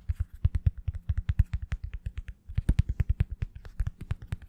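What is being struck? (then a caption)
Hard plastic back of a foam sponge brush. A plastic-backed foam wave sponge brush, held upright, has its hard black plastic back with blue rim and printed logo tapped and scratched by the long fingernails of both hands. The result is a rapid, steady run of short, dull low taps with faint bright clicks on top, each dying away almost at once, with a brief pause midway.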